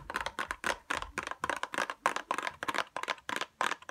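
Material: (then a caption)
Cardboard, plastic. A small pink cardboard tweezers box with a clear plastic window is held up and tapped fast with long nails. About twenty quick, irregular taps sound crisp and papery-plastic, with a midrange click near 1 kHz, bright edges, almost no low end, and very little ring after each tap.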